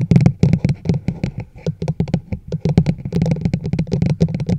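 A large, hollow teal plastic chug mug sits over the microphone while long nails rapidly tap and scratch its side walls. The result is a dense run of short, hollow, boomy knocks centered around a low pitch, with quick decay and faint clicky scratching between taps.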